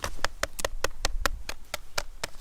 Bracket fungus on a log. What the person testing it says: if I tap it it's hollow but it is very very hard